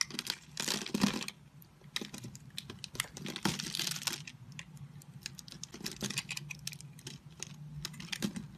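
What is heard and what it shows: An oval, multicolored solid bar of soap in blue, pink and yellow is held in the hand, scored into a grid and shaved with a utility knife blade, so small cubes crumble off. Dense, crisp scraping and rapid clicking ticks run throughout, bright and dry, with heavier crunchy bursts near the start and middle over a soft low rustle.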